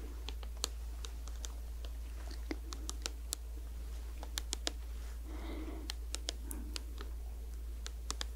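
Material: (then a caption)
Plastic. Long acrylic nails tap and scratch a small, hollow, squeezable blue and white Perskindol cooling gel tube made of plastic, held near the mic. Sharp, bright, quickly fading clicks are scattered throughout, with a softer scratching passage around the middle. A steady low hum sits underneath the whole clip.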